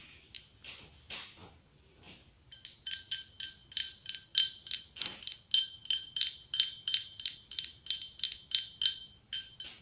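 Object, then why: Blown-glass pumpkin. A hollow, ribbed, opaque white blown-glass pumpkin about 15 cm across with a gold glass stem is held in one palm and tapped with long acrylic nails. After a few scattered, softer clicks, a quick, steady run of bright, glassy taps follows, each giving a short, high ringing tone with clear partials around 1.5 and 3 kHz.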